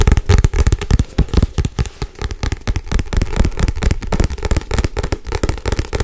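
Long white nails tap and scratch fast and hard on the front and back covers of a solid Harry Potter paperback book. The result is a rapid, irregular run of short, dull, low thumps with a bright, scratchy crackle over them, each tap dying away almost at once.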